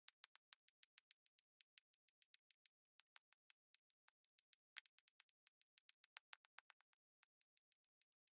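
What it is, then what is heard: Resin drills tapped onto a diamond painting canvas. A pink plastic drill pen taps and presses small square resin drills in cream, pink and purple onto a densely filled, sticky diamond painting canvas in rapid dabs, clicking against neighbouring drills. About 53 quiet, very short, bright clicks come in a steady, quick rhythm with no low end, each dying away almost instantly, with one brief gap near the middle.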